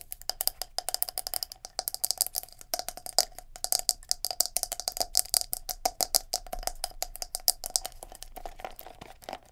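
A palm-sized black plastic scalp massager brush with silicone bristles is held in the hands while long nails tap its plastic shell and knob handle and flick the silicone bristles. The result is dozens of fast, dry clicks and taps with almost no ring, bright and high with a steady mid-range tone underneath.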